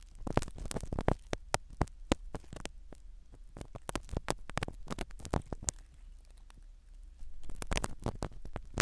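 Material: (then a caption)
Foam. A black spiral ear pick scratches the foam cover of a small black microphone set inside a silicone dummy ear. It makes a dense run of sharp, brief scratchy crackles over a low, muffled rumble, louder near the start and end.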